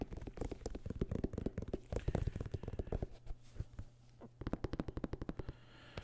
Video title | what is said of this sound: ASMR Shoe Collection 37 (Unboxing, Whispered, Tapping) | they do make really good sounds because they're kind of stiff here. So it almost sounds like you're tapping on patent leather